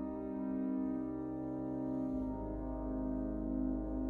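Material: Nothing is struck.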